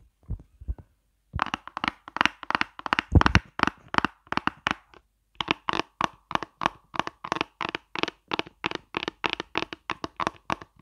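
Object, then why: Plastic makeup palette case. Long fingernails scratch and tap the textured squares of a hollow pink plastic eyeshadow palette shaped like a chocolate bar, held close to the microphone. After a few faint taps comes a long run of quick, dry, crackly clicks with a low knock and a bright edge, each dying away at once, with a brief pause midway.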